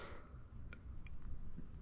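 A glass vacuum tube in a Woo Tube Mini tube amplifier is tapped three times. Each tap gives a brief, faint ping over a low hum, the normal microphonic ringing of the tube's inner parts.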